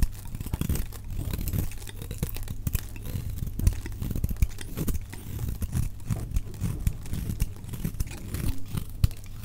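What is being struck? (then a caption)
Bar of soap. A utility knife blade shaves and carves curling chips off a solid, dry pink oval soap bar held in one hand, played back at double speed. A dense run of quick, crinkly scraping and cutting strokes rides over a steady low hum, with the sound sitting mostly in the lows and little brightness.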